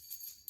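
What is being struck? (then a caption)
Metal trolling lure with rings on a shaft. A Wahoo Knocker trolling lure is shaken so the rings that rotate on its shaft bang against it instead of an internal rattle. The result is a faint, bright metallic jingle with almost no low end, ending in a sharper clink.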